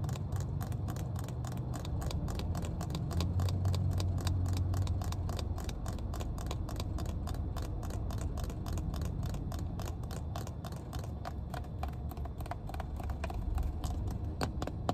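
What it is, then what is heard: Plastic water bottle cap. Long painted nails tap rapidly on the plastic cap of a full, clear plastic water bottle inside a car. The quick, short, bright clicks repeat at a steady pace over a constant low rumble.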